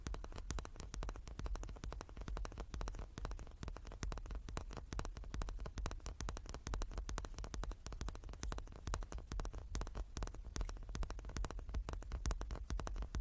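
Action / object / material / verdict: tap / small wooden cube / wood / none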